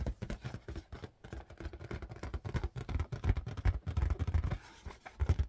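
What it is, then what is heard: Inflated rubber balloon. Rapid fingertip tapping on an inflated red marble-pattern latex balloon. The taps are dull, low, hollow thumps with almost no ring, coming in quick, uneven bursts that grow louder toward the end.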